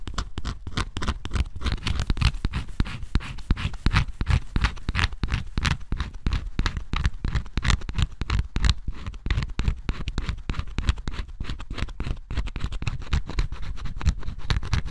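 A metal scraper scratches the black coating off a flat cardboard scratch-off jigsaw puzzle piece, leaving flakes behind. Rapid, dense scraping strokes crackle steadily throughout, each one short and dry with a heavy low thump underneath and faint bright grit on top.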